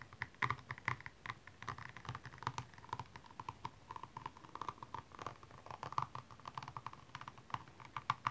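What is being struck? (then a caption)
High-heel shoe covered in rhinestones. The pointed tip of a makeup brush handle scratches across the small rhinestones covering a single hollow, empty blue high-heel shoe lying on its side. The result is a quick, steady patter of short, dry clicks and ticks, centered in the mid range with brighter edges. Each tap dies away almost instantly.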